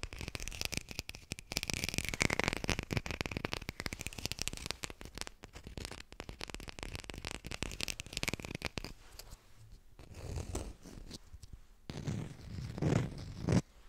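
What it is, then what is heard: Artificial plastic lime, textured surface. A textured artificial plastic lime is tapped quickly with fingers, picked up up close on a hi-fi microphone. A dense stream of soft, crackly clicks carries a steady bright tone near 2.5 kHz for the first nine seconds. The taps then thin into sparser bursts, with a few sharper, louder taps near the end.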